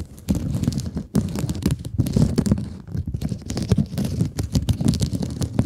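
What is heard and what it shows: Long nails scratch back and forth across a rectangular blue mesh scrub sponge held close to the mic. The result is a dense, crackly rasping heavy in the low end, coming in rapid bursts with brief pauses near the one- and three-second marks.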